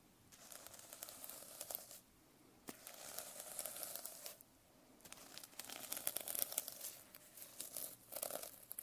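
A metal pen scratches and taps across the plastic sequin cover of a notebook. It makes bright, high, crinkly rattling in three bursts separated by brief pauses, with almost no low end and no ring after each tap.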